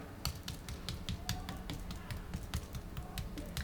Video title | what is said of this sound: How to make a duck breast with perfect crispy skin | if you can hear how crispy it is